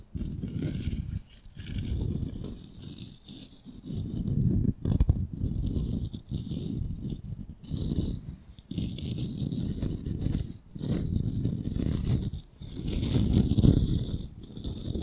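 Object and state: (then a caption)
Solid unfinished wooden ball. Fingernails scratch and tap over the surface of a solid, palm-sized, unfinished ball of raw light wood. Dense, dull, low-pitched scratching and tapping comes in bursts separated by brief pauses, with faint bright hiss above.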